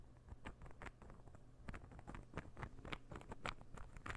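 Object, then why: Small wooden interlocking puzzle ball. A palm-sized, light-wood interlocking puzzle ball is held beside the microphone and tapped and scratched with fingernails. The result is a quiet, irregular patter of dry, short clicks and scratches, with a soft low hum underneath. Each tap dies away almost instantly, with no ringing.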